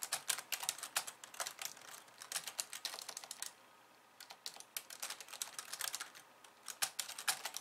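Fast two-handed typing with long nails on a slim pink plastic keyboard with white keys produces a rapid stream of bright, crisp clicks. The typing pauses briefly at about 3.5 seconds, then resumes with the same quick, dry, high tapping.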